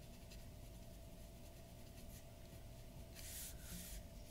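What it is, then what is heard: Pen nib scratching drawing paper. The nib of a glass dip pen scratches across a large flat sheet of white drawing paper resting on a wooden table while shading. Quiet, soft scratching strokes run under a faint steady hum, then grow into brighter, louder hissing scrapes near the end.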